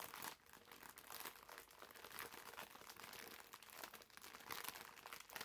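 A green foam bath sponge in a crinkly clear plastic wrapper is squeezed and rubbed with the fingers. The result is a continuous, quiet stream of bright crinkling and crackling with almost no low end, swelling and easing as the grip shifts.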